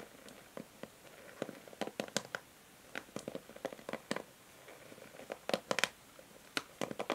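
Long nails scratch and strum the plastic pins of a pink and white plastic paddle hair brush held in the hand. About twenty quiet, sharp, bright clicks and ticks come in irregular bursts, each dying away almost instantly, over a soft, steady scratching.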